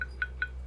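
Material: Charcoal.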